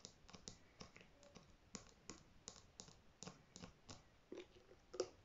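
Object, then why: Plastic shampoo bottle. Natural fingernails tap on plastic shampoo bottles, making quick, soft, dry clicks that die away almost at once. The taps come in an uneven rhythm over a quiet background, with one slightly louder tap near the end.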